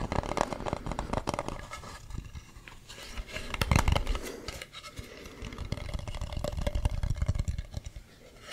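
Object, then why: Carved wooden mask. Fingernails rub and scratch across the ridges of a hollow carved wooden mask with a ribbed, painted surface, held close to the microphone. The result is a dense, irregular stream of rough, low-heavy scraping and quick ticking strokes, swelling louder around the middle and again near the end.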